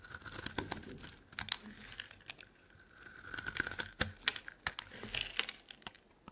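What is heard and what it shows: A metal blade scrapes thin flakes off a solid purple bar of soap that is already heavily carved. The sound is a quiet, dry, crisp scratching and crinkling, with rapid bright clicks and small snaps. Bursts of scraping come and go across the clip.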